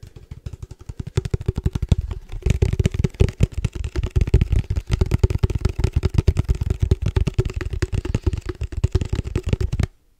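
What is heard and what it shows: Fingertips tap quickly on a hollow, black cylindrical padel ball tube with a metal lid, held close to the mic. The result is a rapid, uneven stream of deep, hollow thuds with a faint resonant ring in the low mids. Each tap dies away almost instantly, and the tapping stops abruptly just before the end.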